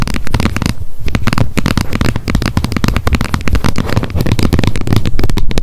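Long nails tap rapidly on the plastic lid edge of a wet wipes pack held upright. A dense stream of quick, dull clicks with little ring, mostly low-heavy and thumpy, runs continuously throughout.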